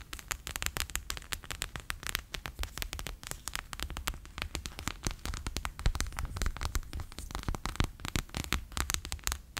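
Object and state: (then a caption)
Plastic pouch of water beads. A bear-shaped clear PVC pouch full of water beads lies flat on a table and is tapped with fingertips and long nails. It makes a steady run of rapid, closely spaced taps, each a soft, low, squishy thud topped with bright, crackly clicks that die away almost at once.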